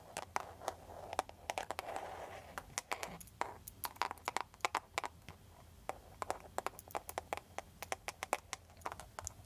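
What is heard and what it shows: A clear plastic cartoon-print case on a handheld smartphone is tapped and scratched with long, pointed, foil-covered nail tips. Many sharp, bright clicks land in quick irregular bursts, with soft scratchy rustling in between. Each tap stops almost instantly, with a light plastic tone and little low end.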